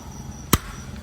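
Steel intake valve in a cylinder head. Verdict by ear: Well-seated.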